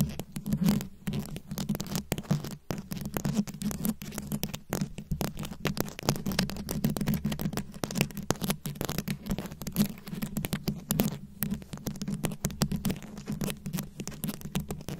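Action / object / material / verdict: scrape / rhinestone-beaded microphone head / glass beads / none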